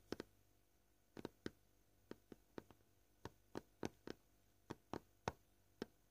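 Short purple-painted fingernails gently tap a solid, flat, white, scratched plastic cutting board at an uneven pace, about sixteen times. Each tap is a quiet, dry, hollow tick that dies away almost at once, over a faint low hum.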